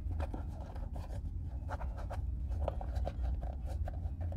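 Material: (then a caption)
Leather. Bare fingertips rub cream into a brown Red Wing Weekender Chukka leather boot with a crepe sole, held hollow in both hands while it is re-oiled. A steady, soft rubbing with a dull low rumble is heard, broken by short, faint squeaky strokes around 600 Hz.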